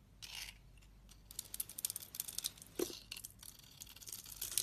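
A metal utility knife blade carves and scrapes curls from a solid, hand-sized green glittery bar of soap held in the palm. The clip is a quiet run of bright, crisp scraping and crackly cutting strokes with almost no low end, separated by short gaps and ending in a denser rasping scrape.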